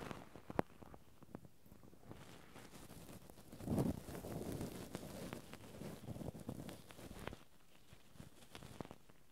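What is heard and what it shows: Two cotton swabs scratch and rub continuously over the metal mesh microphone grille of a handheld Zoom recorder. The close, low-heavy scraping is dotted with sharp ticks and swells into a louder, denser rub around the four-second mark before easing back to quieter scratching.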